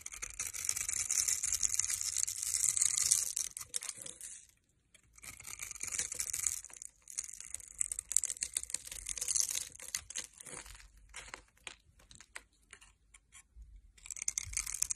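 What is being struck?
Bar of soap scraped with a metal blade.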